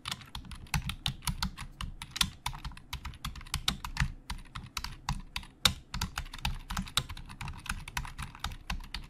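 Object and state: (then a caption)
Plastic computer keyboard. Fingertips of both hands type fast on the hollow plastic keys of a black plastic Logitech full-size keyboard resting on a desk. A rapid, uneven stream of short, dry clacks combines a low thump with a bright click, each dying away almost instantly, with a few keystrokes striking noticeably harder than the rest.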